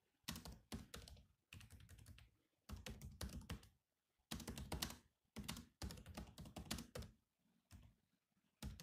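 Fingertips tap the black plastic keys of a grey laptop keyboard in continuous typing, producing bursts of short, clicky taps with a low thump under a bright click. The typing comes in uneven runs separated by brief pauses.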